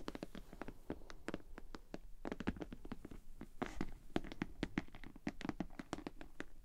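Long painted nails rapidly tap and scratch the shiny front and sides of a pink glossy PVC Ted Baker cosmetic bag held upright in both hands. The hollow bag gives dense, sharp clicks, each with a quick, dry decay and a soft low-mid thump. Faint scratchy rustles run between the taps.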